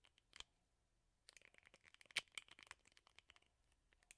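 Fingernails flick and scratch the plastic bristles on the rubber pad of a plastic hairbrush. A couple of quick bright clicks come first, then a pause, then a rapid run of dry, crackling ticks and scrapes that peaks sharply in the middle before thinning out. The sound is thin and high with almost no low end.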